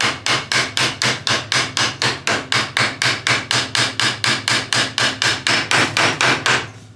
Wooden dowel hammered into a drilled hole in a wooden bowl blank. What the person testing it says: you can hear when it hits bottom